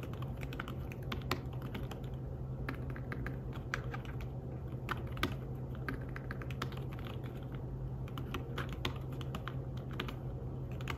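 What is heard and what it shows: Fingertips tap the keys of a slim fabric-covered tablet keyboard while typing, producing a steady run of soft, muffled clicks with occasional sharper taps. A constant low hum runs underneath for the whole clip.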